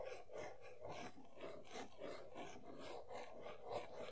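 Long nails scratch back and forth across the back panel of an empty printed cardboard Funko Pop box (Sailor Jupiter). The sound is a quiet, steady, papery rasp, with rhythmic strokes that swell and fade in a continuous run and a mid-pitched tone over a soft hiss.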